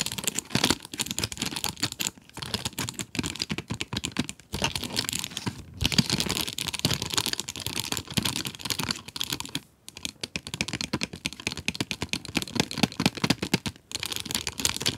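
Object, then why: Cardboard pencil box with plastic window. Long nails tap rapidly on the plastic window of a cardboard pencil box holding pencils. The result is dense, bright, dry clicks with a crinkly plastic texture, broken up by a few brief pauses.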